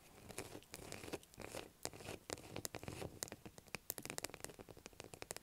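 Long black acrylic nails scratch and tap a light blue solid bar of soap lying on a table. The first half is mostly soft, rasping scratches that swell and fade; the second half turns into a rapid series of quick, dry, bright clicks. Each tap stops almost instantly with no ring, and the whole clip stays quiet.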